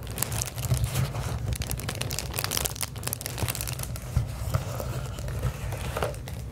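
Long acrylic nails scratch and tap a sheet of clear plastic bubble wrap held up while the sheet is crinkled. The result is a dense, continuous crinkling and scratching texture with many sharp, short taps over a heavy low rumble, and bright crackles that die away almost instantly.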